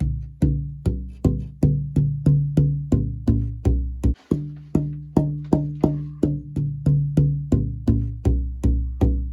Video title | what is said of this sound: Archtop Guitar Build - f holes and bracing | It really did drop quite a bit.